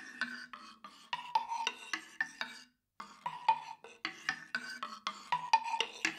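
A hand-sized, hollow, octagonal wooden tongue drum made of light unfinished wood with slatted tongue sides is held in one hand and struck and scraped along its slats with a thin wooden stick. It gives a quick series of dry, hollow wooden knocks with a woody tone near 900 Hz, mixed with brief raspy scrapes. There is a short silent pause midway, and each knock dies away almost at once.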